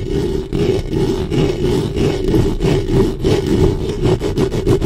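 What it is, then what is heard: Metal microphone grille scraped by nails. Long nails scrape back and forth across the metal mesh grille of a black studio microphone. The result is a dense, low, rumbling scratch with a steady hum-like tone near 380 Hz, swelling and dipping in rhythmic strokes about three times per second.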